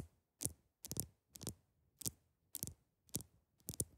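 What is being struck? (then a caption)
Large ice block. Long acrylic nail tips tap on the top of a large, solid, clear ice block. Seven quick, dry clicks with a bright, crisp edge and a soft low thump come at an uneven pace, some as double taps, each dying away almost at once.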